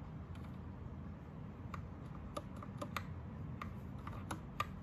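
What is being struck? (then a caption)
Mechanical keyboard with plastic keycaps. Fingertips type on an Anne Pro 2 60% mechanical keyboard with plastic keycaps and a backlight that goes from green to rainbow. Short, crisp plastic key clicks with a bright edge and a tone near 1.2 kHz sound out irregularly, some sharper than others, over a steady low rumble.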